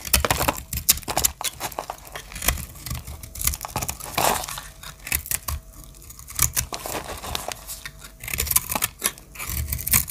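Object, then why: Bar of soap. A solid rectangular bar of pink, green and blue marbled dry soap is held in the hand while its edge is shaved with a small metal blade. The result is a quick run of crisp, bright cutting and scraping sounds, each brief and dry, with a few louder crunchy strokes and a faint low rumble underneath.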